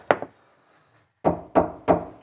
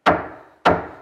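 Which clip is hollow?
The second.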